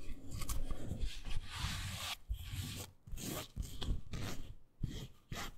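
Long nails scratch and rub the fabric-covered seat and arms of a miniature beige faux suede toy couch. The result is a steady, soft, raspy rubbing in uneven bursts, mostly low and muffled with brief brighter scratchy edges, and it pauses and resumes several times.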